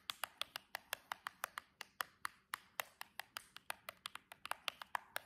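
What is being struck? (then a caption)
Cardboard box tapped with long artificial nails. The tips of long jeweled press-on nails on one hand tap the long edge of a silver cardboard box. There are 29 quick, dry clicks in an uneven, rapid rhythm, each crisp and bright with a papery knock near 1 kHz and no low end. Each click dies away almost instantly.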